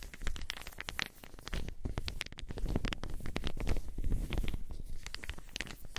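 Small solid wooden balls are cupped between long-nailed hands and rubbed and shaken together. The result is a dense run of quick, dry clicks and clacks over a steady low rumble, rising and falling in loudness with the motion.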